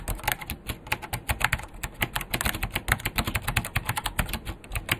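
A vintage beige plastic full-size KPT-102 mechanical keyboard with Alps switches and a hollow case is typed on quickly with both hands' fingertips. About 35 sharp, short clacks run close together in an uneven rhythm, each with a bright click over a hollow thock from the case.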